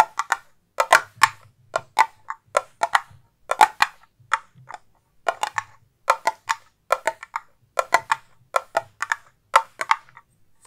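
A hand-sized, hollow round metal tin with a gold lid and printed label is tapped and scratched with long painted nails close to a fluffy microphone. About three dozen short, dry taps and scrapes come in quick irregular clusters, each with a mid-pitched tinny tone around 855 Hz and a bright edge. Each dies away almost instantly with little ring.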